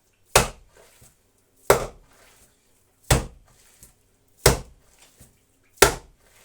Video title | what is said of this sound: #ковбаса копчена з бочки😋😋 | коли воно вже готове то воно так такий глухий звук видає